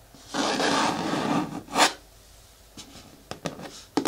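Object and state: Hard plastic bucket with lid.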